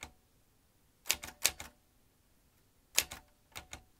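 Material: Metal.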